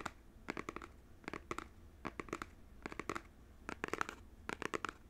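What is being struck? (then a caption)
Small printed cardboard box. Fingernails tap and scratch the faces of a small, hollow, printed cardboard Nintendo Switch controller box held close to the mic. Quick, dry, scratchy clicks come in short clustered bursts, each dying away almost instantly. The bursts have a papery midrange centered near 1.3 kHz with bright edges, over a faint low hum.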